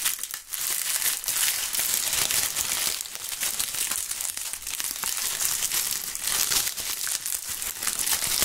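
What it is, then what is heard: Dry, brittle maple leaves. Handfuls of dry, brittle brown maple leaves are crushed and crumpled between both gloved hands above a pile of leaves on a table. A continuous, dense crackle and crunch of light, hollow-sounding dry plant matter fills the clip, bright and airy with almost no low end.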